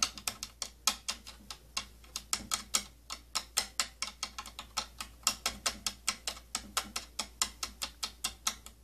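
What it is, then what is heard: Plastic tattoo kit case scratched along ridged rim. Fingernails scratch across the ridges of the slotted rim on a hollow, purple plastic cylindrical tattoo kit case. The result is a rapid, uneven run of about forty short, bright, dry, ratchet-like clicks over a faint steady low hum.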